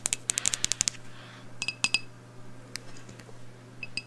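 Long blue nails tap on a medium black glass candle jar with a round label, filled with wax and holding a lit candle, as it is held in one hand. A quick run of bright, clicky glass taps is followed by sparser, ringing taps with brief high tones over a low steady hum.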